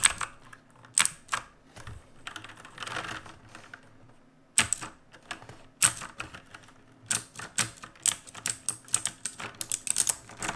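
Fingertips of both hands type on the plastic keycaps of a full-size black backlit mechanical keyboard resting on a wooden desk. Bright, dry clacks come in quick irregular bursts separated by short pauses, each keystroke cutting off almost instantly.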